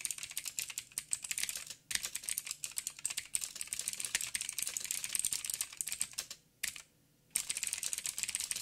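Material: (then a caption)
Plastic. Fingertips of both hands type on a backlit mechanical keyboard with plastic keycaps and blue clicky switches. The result is a rapid, bright stream of sharp clicks with almost no low end. Typing pauses briefly just before the two-second mark and goes silent for about a second near the end before resuming.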